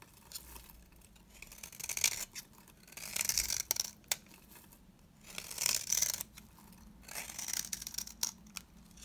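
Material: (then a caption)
Soap. A large round cream-colored bar of dry soap, held in one hand, is shaved with a box-cutter blade, and flakes and curls come off. Repeated bright, dry scraping strokes rise and fade with short sharp ticks between them.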